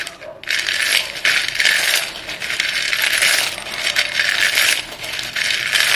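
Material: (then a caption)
Chalk. Chalk-dusted hands stir a pile of solid white chalk sticks in a dark bowl, scooping them up and letting them fall back in. The pieces make a steady, bright clattering rattle that swells and eases in waves, with no low end.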